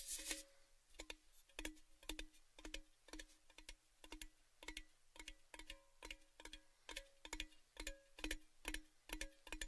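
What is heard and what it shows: A tall, hollow, empty orange-red cylindrical metal Baileys gift tin is held close and tapped on its side and top with fingertips and nails. The result is a steady, slightly uneven run of quiet ticking taps, each with a bright click and a brief hollow metallic ring around 310 Hz.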